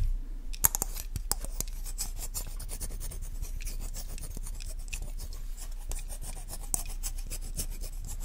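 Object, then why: Plastic lotion bottle. Long nails scratch and rub along the label and body of a hollow, cylindrical white plastic lotion or sunscreen bottle with a brown cap, held in the hand close to the mic. A steady, dense, crackly scraping fills the clip, dotted with sharp, bright ticks and a few louder taps near the start and end.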